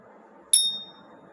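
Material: Jade.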